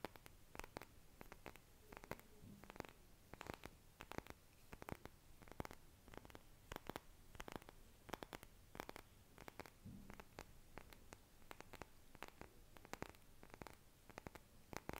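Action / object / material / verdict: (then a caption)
tap / small glass hourglass with metal joint / glass / none. Fingernails tap the glass bulbs of a small, hollow glass hourglass with blue sand and a metal middle joint, held in both hands. A quiet, steady stream of sharp, dry clicks and ticks runs throughout, each with a bright edge and almost no ring, over a faint low rumble.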